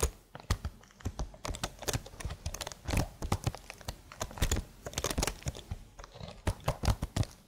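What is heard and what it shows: Long blue nails type rapidly on a slim black plastic computer keyboard with marble keys. The result is a steady stream of short, dry clicks with a thick low-end thump and a crisp high edge, each dying away almost instantly.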